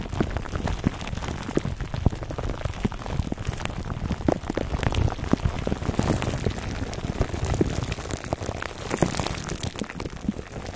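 A foam microphone cover wrapped in clear plastic film is rubbed by hands and then scratched with fingertips, giving a dense, steady crinkling and crackling. Many quick, sharp taps and scrapes overlap throughout, with most of the weight low and only a little high brightness.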